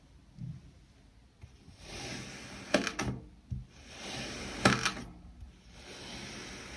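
A metal knife blade, moved by hand, keeps cutting through and scraping the packed pieces of an already-sliced solid kinetic sand heart cake with M&Ms and its surrounding cylinders. Soft, grainy scraping swells rise and fade as the blade pushes through the sand. Sharp, bright ticks and dull thunks sound as the blade meets and releases the dense pieces.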